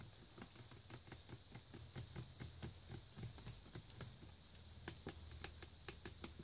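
A full plastic Naked juice bottle, held in the hand, is tapped rapidly with fingernails on the paper nutrition-facts label on its back. The result is a quick, dry, clicky patter of short, bright ticks with almost no ring, layered over a steady low hum.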